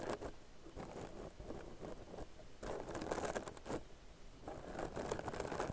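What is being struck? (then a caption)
Crocheted yarn bag. Long nails scratch along the surface of a soft, hollow, tan crocheted yarn purse. The result is a dry, crinkly scratching in uneven bursts, with bright rasping texture over a soft, muffled low rustle.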